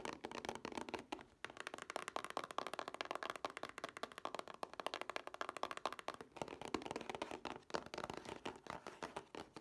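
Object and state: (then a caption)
Plastic DVD case with cardboard sleeve. Long nails rapidly tap and scratch the glossy printed cardboard slipcover of a plastic Scooby-Doo two-pack DVD case held in both hands. The result is a dense, steady stream of quiet, dry clicks and scrapes with almost no ring. The sound sits mostly in the midrange, with little low end and a light bright edge.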